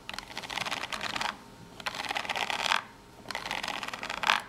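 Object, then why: Small corrugated cardboard box. Long natural fingernails scratch the cut edge and top corner of a small corrugated cardboard box in three bursts separated by short pauses. The scratching is dry, rapid and bright, made of dense crackly strokes with little low end.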